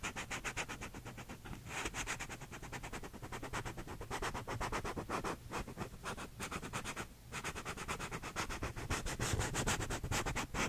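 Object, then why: Paper cup with textured plastic sleeve. Fingernails scratch the inner cardboard wall and rim of a small, empty paper cup with a blue textured plastic sleeve, held sideways. Rapid, uneven, dry scratching strokes run continuously, with a hollow low undertone and bright papery hiss. The sound dips briefly around the middle before picking back up.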